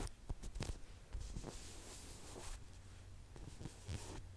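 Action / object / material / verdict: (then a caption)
tap / polyurethane foam squishy toy / polyurethane foam / none. A large yellow lemon-shaped squishy toy made of soft, solid polyurethane foam is held close to the microphone and tapped and scratched with long nails. Quiet, dull low thumps come through with short bright scratchy rustles over a soft steady hiss, and each tap dies away almost at once.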